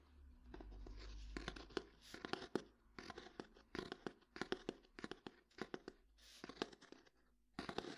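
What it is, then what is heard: Old hardcover book, tapped and scratched. Fingernails tap and scratch on the cover and page edges of an old hardcover book. Quick, dry taps come in irregular clusters with scratchy, bright bursts between them. Each tap dies away almost instantly, with a faint low hum under the opening second or so.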